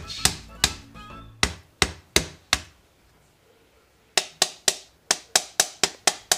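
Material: Wood.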